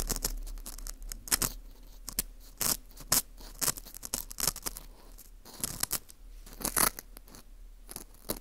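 A thin metal hook pick scrapes the crumbly inner wall of a dry, porous dried wheat gluten ring (fu) held in a gloved hand. The result is a series of short, bright, crackly scratches and crunches over a faint low hum, with some strokes louder than others.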